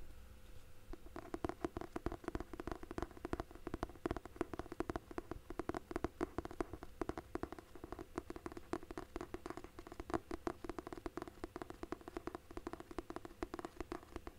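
Fingertips and nails tap and scratch the cover and page edges of a thick hardcover book held flat. After a quiet first second, a rapid, steady stream of short, dry taps with almost no ring continues throughout, centered on a low-mid tone with little high-end brightness.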